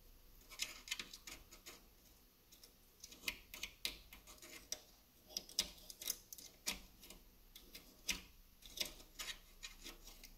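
Fingernails tap and scratch on the ends of the solid driftwood sticks of a wall sculpture. The result is a quiet, irregular series of dry, bright, woody clicks with short scratchy rasps between them, each tick dying away at once with almost no low end.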